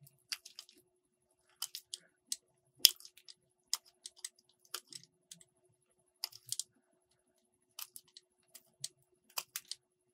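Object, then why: Soap bar cut with a metal blade. A metal box-cutter blade cuts and scrapes slices off a solid green soap bar. Quiet, short, crisp cracks and scratches come in irregular bursts across the clip, bright and high with almost no low end and no ring after each cut.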